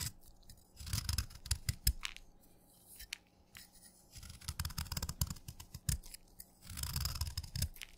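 A steel knife shaves flakes off a solid wet red chalk stick, and the flakes pile up on the blade. The blade makes short, crisp scraping strokes with a bright, hissy edge and a soft low thud beneath. The strokes come in bursts separated by quieter pauses.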